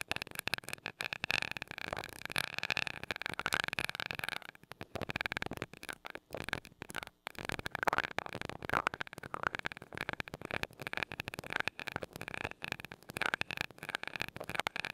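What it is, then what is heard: Metal microphone grille. A glass rod taps and rubs against the small gold metal mesh grille of a mini microphone. It makes a dense stream of rapid, dry ticks and scratchy rubbing with a bright, crackly edge and almost no low end. The sound pauses briefly around 4.5 and 7 seconds before the steady tapping and rubbing resumes.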